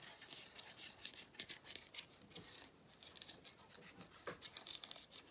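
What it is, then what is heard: Rubber end cap of a vacuum cleaner filter, tapped. Fingertips and nails tap the flat black rubber/plastic end cap of a hollow vacuum cleaner filter. Quick, dry, bright clicks and light scratchy taps come in irregular bursts, with almost no low end and very short decay.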